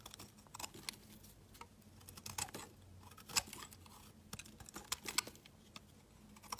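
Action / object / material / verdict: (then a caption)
scrape / bar of soap cut with a knife blade / soap / none. A utility knife blade scrapes and shaves a solid, pale yellow, curved, hand-sized bar of soap. The result is a quiet run of short, crisp, bright scraping clicks and brief shaving strokes at an irregular pace, with a faint low hum underneath.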